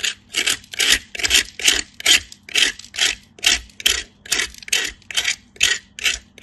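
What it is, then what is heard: Soap bar grated on a metal grater. A solid pale piece of soap, held by fingertips with light-blue nails, is grated on a stainless-steel box grater in about fifteen repeated scraping strokes. Each stroke is a bright, airy rasp with a short hiss and almost no low end, separated by brief silences in a steady rhythm.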